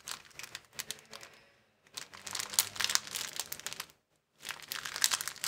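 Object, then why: Thin plastic bag rolled into a tube. A clear plastic bag rolled into a tube is squeezed and twisted with the fingers, giving sharp, bright crinkling and crackling with almost no low end. The crinkles come in three dense bursts separated by two brief silences, growing busier and louder in the later bursts.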